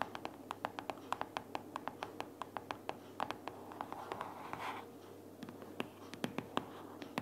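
A closed pink paperboard sticky notes organizer, lying flat and solid with paper pads inside, is tapped and scratched with long purple fingernails. About 35 quick, dry, bright clicks sound with almost no ring, and a brief soft scratching rustle comes partway through.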